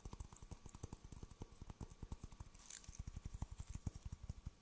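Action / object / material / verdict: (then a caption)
tap / coconut shell half / coconut shell / none. A hollow, empty half coconut shell with fibrous husk on the outside is held in one hand near a fuzzy microphone and tapped with the fingertips of the other hand. About two dozen quick, dry, low, hollow taps sound in an uneven rhythm, each dying away almost at once. Faint bright clicks, possibly mouth sounds, are mixed in.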